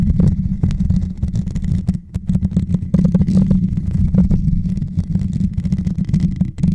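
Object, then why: Metal mesh microphone grille. Fingertips and short nails scratch and tap the hollow, rounded metal mesh grille on top of a white Blue Yeti microphone. The result is a dense, boomy low rumble with many soft, quick ticks and brief bright scrapes layered over it.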